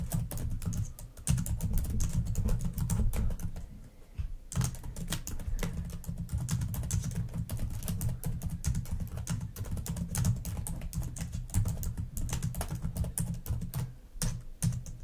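Long nails type rapidly on a black plastic laptop keyboard, producing a dense stream of sharp, short clicking taps over a steady low rumble. The typing pauses briefly around the four-second mark, then continues at the same quick pace to the end.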